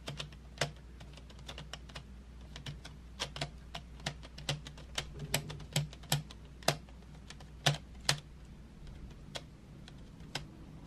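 Long nails on both hands tap painted wooden graphite pencils lying in an open metal tin tray. The result is a quick, irregular patter of short, dry, bright clicks, some louder than others, over a faint low steady hum.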